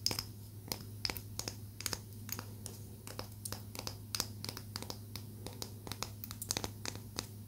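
Long nails scratch and tap along the grain of a small, solid palo santo wood stick, making a rapid, irregular series of sharp, bright clicks and light scratches. The clicks die away almost instantly over a quiet, steady low hum.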